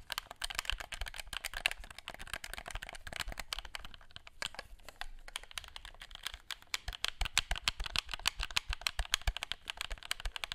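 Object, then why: Plastic game controller buttons. Fingertips rapidly tap and click the buttons of a black plastic gamepad, making a dense, irregular patter of short, dry, bright clicks much like typing on a keyboard. The clicks come at roughly three per second with almost no ring, over a faint low rumble.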